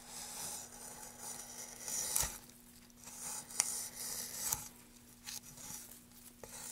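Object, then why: Light wooden plank. A gloved hand works a tool along the grooves of a solid light wood plank, carving and scraping. The result is a steady bright, dry scraping hiss broken by two sharp, short clicks, with almost no low end.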